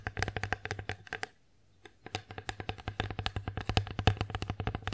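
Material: Wood.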